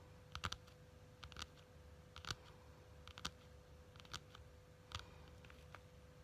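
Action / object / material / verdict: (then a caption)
tap / quilted faux leather wallet / faux leather / none. Long nails tap and scratch the cover of a small pink quilted faux leather wallet or case. Sharp, bright clicks come in irregular clusters about every second, with soft scratching between them. A faint steady hum sits underneath throughout.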